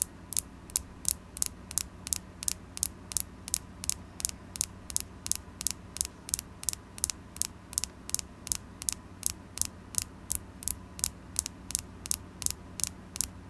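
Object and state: Carnelian crystal.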